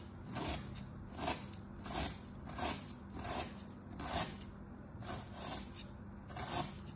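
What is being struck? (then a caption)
Packed kinetic sand cut with a thin metal tool. A flat, solid, packed kinetic sand star is cut into strips with a thin metal tool and the strips are pushed apart with fingertips. Seven soft, gritty scraping strokes rise and fade at an uneven pace, each followed by faint crumbling and a bright hiss over a low rumble.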